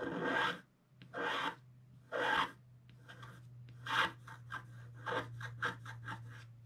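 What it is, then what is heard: Scratch art paper sheet. A wooden stylus scratches the figure's legs into a flat scratch art sheet with a black coating, producing dry, broadband rasping strokes. Three long, separate strokes come first, followed by a run of shorter, quicker scratches, all over a steady low hum near 120 Hz.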